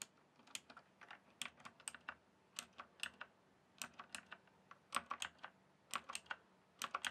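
Fingertips type and tap on a full-size RGB-backlit plastic mechanical computer keyboard, its hollow keys resting on a solid base. Quiet, sharp, bright clicks fall in irregular bursts with short pauses between. Each click dies almost at once, with almost no low-end thump.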